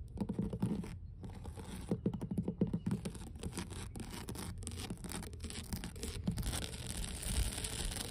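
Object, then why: Wooden dock boards. Long blue fingernails and fingertips of both hands scratch and tap along the grain of solid, weathered wooden dock planks outdoors. Quick, dry taps and rasping scratches follow one another in a dense, uneven stream with a low, woody body, growing brighter and more hissing toward the end.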